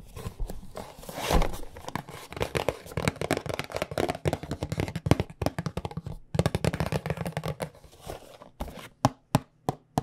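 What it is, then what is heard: Cardboard tea box. Long nails tap rapidly on a small, hollow white "Tulsi Sweet Rose" cardboard tea box as it is turned in the hands, with some crinkling of the packaging. The taps are quick, dry and hollow, with a low, boxy body and very short decay. Near the end they thin out into a few louder, separate knocks.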